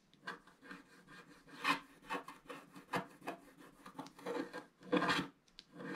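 A wooden stick scratches the black wax off the lower right of a flat, black wax-coated scratch art paper card. The result is a run of short, dry, raspy scraping strokes of uneven loudness, with a bright, papery hiss over a soft midrange body.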